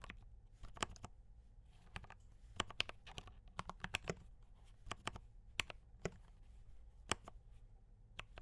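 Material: Plastic.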